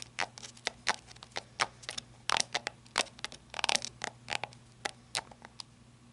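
Long red-painted nails scratch and tap the end cap on the tail of a small, handheld, hollow-bodied black flashlight with a ribbed, rubber-like grip. The result is a quick, irregular run of about two dozen dry, bright clicks and short scrapes with almost no ring or low end, over a faint steady hum.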